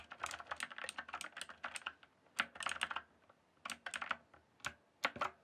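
Fingertips type on a green-backlit mechanical keyboard with plastic keycaps, producing rapid bursts of sharp, bright plastic clacks with almost no low end. Each keystroke dies away almost instantly, and the flurries of typing are broken by short pauses, ending with a few isolated, louder key strikes.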